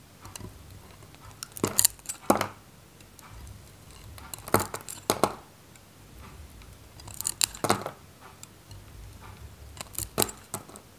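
A metal knife cuts slices and chunks from a handheld, solid, dry Godrej No.1 soap bar, white with a red varnished coating. Crisp, bright crackling and scraping bursts come in clusters, separated by quiet gaps, and each cut ends in a dry snap with almost no ring.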